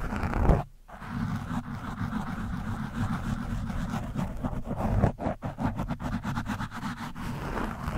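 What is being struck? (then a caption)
Foam microphone windscreen scratched with a metal screwdriver tip. A screwdriver tip scratches an orange foam windscreen on a microphone, producing a dense, low, rumbling scrape with a steady raspy texture. The sound cuts out briefly near the start, then continues as continuous scratching with a louder surge around the middle before settling back to a steady rasp.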